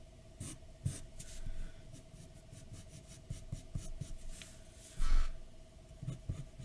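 A graphite pencil makes light scratching strokes on a large white paper sheet lying flat on a dark desk. Short, soft strokes come and go, with a louder, longer scratch near the five-second mark. A faint, steady tone runs underneath throughout.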